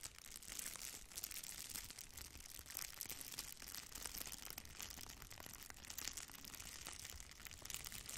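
A thin strip of red plastic bubble wrap is held between both hands while the fingers pull and crinkle it. The result is a quiet, continuous, bright crinkling full of rapid, sharp crackles that fade almost at once, over a faint low rumble.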